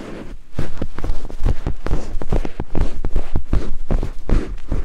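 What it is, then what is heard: Silicone microphone ear scraped. Two thin wooden picks held in fingertips scrape over white silicone binaural microphone ears. After a quiet start, it turns into a fast, uneven run of close, deep, muffled thumps and rubbing scrapes that carry almost all their weight in the low end, with no brightness on top.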